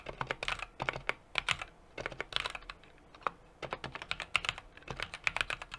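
Fingertips type continuously on a small 60% mechanical keyboard with an aluminum case, brass plate and plastic keycaps. Quick bursts of sharp, bright clacks with almost no low end and very short decay are broken by brief pauses.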